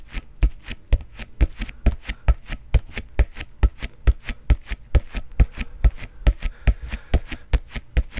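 A green inflated soccer ball with a synthetic leather cover is struck rapidly with a fist, about 21 times in a quick, slightly uneven rhythm. Each blow gives a deep, dull thump with a short bright slap on top that dies away almost at once.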